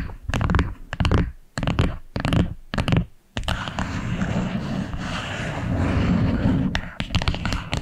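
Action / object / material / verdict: tap / small wooden box / wood / none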